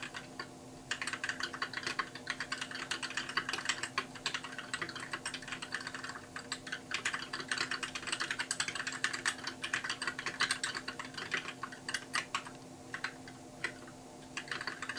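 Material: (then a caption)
Plastic. Fingertips type steadily on a compact white mechanical keyboard with plastic keycaps, producing a dense stream of short, bright, crisp clacks with almost no ring. The typing continues for the whole clip with brief lulls, including one near the end, over a faint steady hum.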